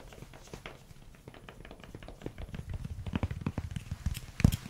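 A solid pink silicone spatula with a long grey handle is tapped on its head and handle with fingernails and then fingertips. The result is a quick run of soft, dull, low taps that die away almost instantly. The taps grow denser and louder toward the end, with one strongest knock near the close.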